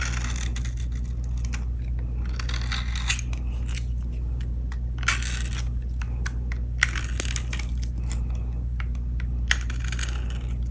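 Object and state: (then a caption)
Dry glycerine soap bar, crunchy when cut. A utility blade shaves and carves a hand-sized, dry orange Duru glycerine soap bar painted blue, held in one hand, while crunchy flakes pile up on a black surface. Crisp, bright scraping and cutting crunches come in quick, short bursts over a steady low hum.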